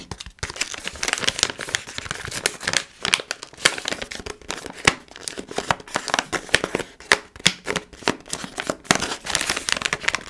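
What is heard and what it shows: A palm-sized, foil-lined plastic Milkybar snack pouch is crinkled by hands while fingernails scratch and tap on it. The result is a dense, bright, papery crinkling broken by many quick, sharp clicks that die away almost instantly, with very little low-end weight.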